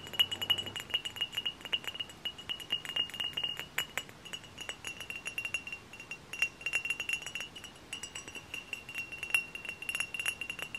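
A glass hard cider bottle is tapped close up in a steady stream of quick, light taps. Each tap gives a short, bright glassy clink with a ringing tone near 2.7 kHz that dies away almost at once, over very little low end.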